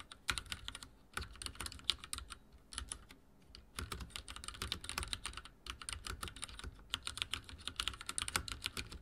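Fingertips of both hands type rapidly on a full-size backlit mechanical keyboard with dark plastic keycaps and linear switches, resting on a wooden desk. Quick, bright, dry clacks run in dense bursts separated by short pauses, each keystroke dying away almost instantly.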